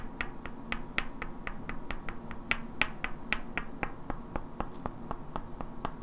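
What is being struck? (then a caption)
Pair of wooden blocks. Two identical hand-sized solid wooden cubes with black painted characters are held in both hands and knocked and clicked against each other, while long natural nails tap their edges. About 24 sharp, dry clicks come in a steady, even rhythm, each bright and very short. A faint low hum sits underneath.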